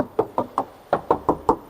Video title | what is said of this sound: SPILL CORTEZ 1.5 ST LUX CVT 2021 -HARGA BOLEH MURAH DIKELASNYA, TAPI LEBIH MEWAH | Aku juga bakal tes ketuk. Tuh, masih kedengaran banget kalengnya.